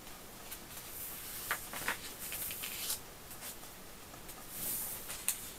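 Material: Paper.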